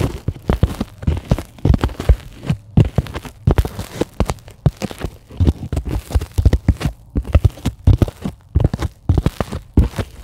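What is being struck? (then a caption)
Polyethylene foam sheet. Long glittery acrylic nails scratch and tap a flat, solid white closed-cell polyethylene foam sheet. The result is a dense run of quick, soft, muffled taps and rustly scratches with a deep, thuddy low end. Each tap dies away almost instantly.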